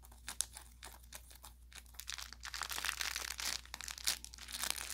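An orange velour plush carrot cat toy with crinkle filling and a fabric tag is squeezed and pressed with the thumb and fingers. Bright, dry crinkling and crackling builds in dense, irregular bursts, with sharp pops standing out and a low steady hum underneath.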